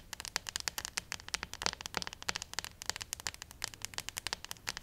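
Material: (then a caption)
Plastic. Long acrylic nails scratch and tap along the torso of a small, likely hollow plastic acupuncture model doll with printed meridian lines, held upright. A rapid, uneven stream of sharp, bright clicks and scratchy ticks is heard, mostly high-pitched, with each tap dying away almost instantly.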